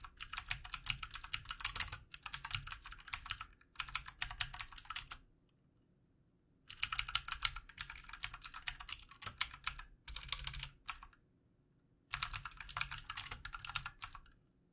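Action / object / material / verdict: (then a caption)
tap / plastic computer keyboard / plastic / none. Fingertips of both hands type on the keys of a backlit plastic computer keyboard, making quick, bright, dry clicks that come in bursts separated by short pauses. The taps are light and crisp, with almost no low end and no ring after each keystroke.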